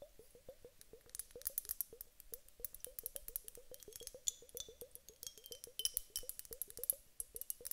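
Long nails lightly tap a glass hourglass whose bulb is filled with gel water beads, in a quick, irregular run of taps. Each tap is a short, dry click with a soft knock in the low mids and bright, crisp highs, and it dies away almost at once without ringing.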